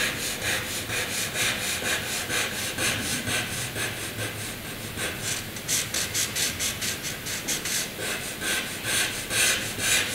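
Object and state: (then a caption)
Pencil drawing on paper. A soft graphite pencil held in the hand draws heavy straight lines across a flat sheet of white drawing paper. The pencil rubs on the paper in steady, rhythmic strokes, making a bright, hissing scratch that swells with each line.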